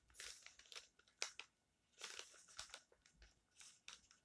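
Fingertips of both hands rub and press the page edges of an open glossy paper magazine spread on top of a stack, crinkling the thin glossy paper. Soft, bright crinkles and rustles come in short bursts separated by near-silent pauses, with almost no low end.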